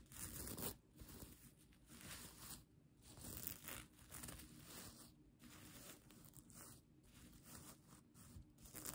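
Long nails and fingertips scratch and rub the sequins of a bunched-up plastic sequin blanket. The result is a steady, bright, crinkly rasping with a gritty low rustle underneath, swelling and easing in uneven waves of louder scratching.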